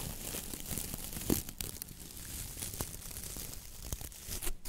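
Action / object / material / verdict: scrape / coir-bristle dish brush with wooden handle / coconut fiber / none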